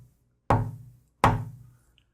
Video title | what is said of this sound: KIM WALKER 03 - Tap Tone Wood | a real dry sound and it gives you very little ring. sort of like hitting cardboard or cigar box